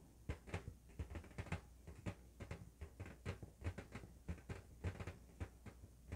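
An inflated, hollow, blue LED-lit latex balloon, held between both hands, is tapped and scratched with fingertips and nails. The result is a quiet, steady series of soft, dull, low thumps that stop almost instantly, with brief brighter scratchy streaks between the taps over a faint low hum.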